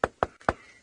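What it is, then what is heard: Hollow, dried-out tree trunk. Three knocks on the bare wood of a living tree trunk whose bark was stripped by an elephant, leaving the exposed wood dried out and riddled with wood borer beetle holes. Each knock is a short, hollow tap centred around the midrange that dies away almost instantly. The hollow sound marks dried-out wood on a tree that is going to die.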